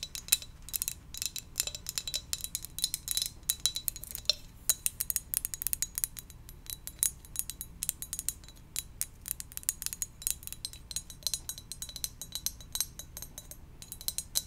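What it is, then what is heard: Ceramic mug. Gentle, rapid tapping on a donut-shaped ceramic mug produces a dense stream of short, bright clinks that die away almost instantly. The taps continue steadily throughout, with little low-end weight beneath them.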